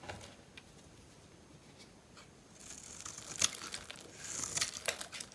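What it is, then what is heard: Bar soap scraped with a blade. A metal utility-knife blade scores and scratches thin strips into the surface of a dry, hand-sized oval bar of soap with purple and white stripes, held in one hand. The result is quiet, crumbly, crinkly scraping with bright, high hiss and almost no low end. The scraping grows louder and busier in the second half, with a few sharper scratches standing out.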